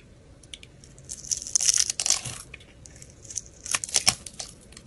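A palm-sized solid pale green soap bar is held in hand and scraped and carved with a metal blade into thin curls and chunks. Dry, crisp scraping and crackling bursts are heard in two main clusters, very bright and high with almost no low end, each stroke cutting off quickly.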